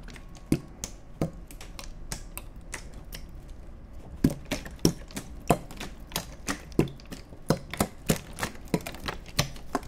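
An empty, hollow, clear plastic (PET) water bottle is held horizontally in both hands and squeezed and crinkled with the fingertips close to the microphones. Sharp, irregular crackles and pops with bright clicks ring out over a low background rumble, each snap dying away almost at once.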